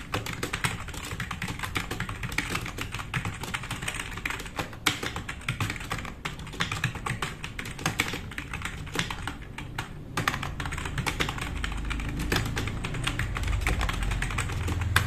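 Fast two-handed fingertip typing on a black, RGB-backlit tenkeyless plastic mechanical keyboard with plastic keycaps, sitting on a wooden desk. A dense, continuous stream of quick clacks carries a deep thocky body under crisp, bright key clicks. The typing grows slightly louder in the second half.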